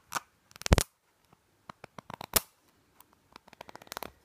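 Long nails quickly tap and scratch a small white plastic nasal spray bottle with a green label. Irregular bursts of short, dry clicks and scrapes come in quick clusters with brief pauses between them, each ending at once with no ring.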